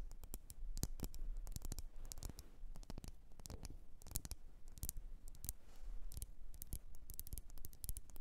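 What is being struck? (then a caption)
Wax-filled glass candle jar tapped with fingernails. Long nails tap rapidly on the rim and sides of a lit, wax-filled red glass candle jar. Crisp, bright clicks with almost no ring come in quick irregular clusters over a steady low hum.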